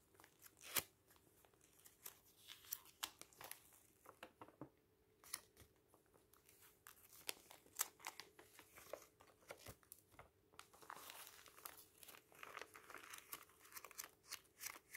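Fingertips rub and flip the thin printed pages of a thick paper booklet lying open on a table. Quiet, dry rustling and soft scraping are broken by crisp, bright page snaps and flutters throughout, with almost no low end.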